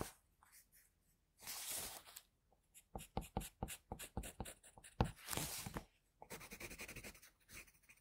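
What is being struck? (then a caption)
Graphite pencil on paper sheet. A pencil held in a holder scratches shading near the eye on a flat sheet of drawing paper. Quiet, dry scratching alternates between longer broadband scrapes and runs of short, quick strokes with a bright, papery edge and almost no ring.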